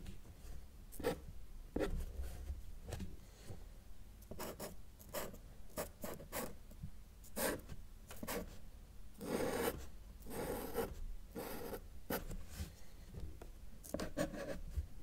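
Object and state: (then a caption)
Paper sheet drawn on with marker. A felt-tip marker held in the fingers draws mountains on a flat white paper sheet lying on a table with a solid surface. It makes a series of short, scratchy, rasping strokes with bright bursts, some quick and some drawn out, over a faint low hum. The strokes stay quiet and close.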